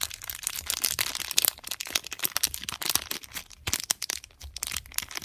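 A small, flat, sealed pink Durex condom packet of metallic foil/plastic laminate, with the condom inside, is held between thumbs and fingertips and squeezed and crinkled, while other packets and boxes sit untouched on the table. The result is a continuous stream of dry, bright crinkling crackles with almost no low end, rising and falling in quick irregular bursts.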